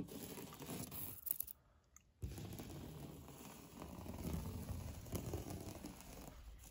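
Fingernails scratch hard across a solid, beige, knockdown-textured painted drywall interior wall, making a rough, low, gritty scraping with brief louder scratches. A short near-silent pause breaks it just before the middle, and near the end the hand turns palm-out as the scratching continues.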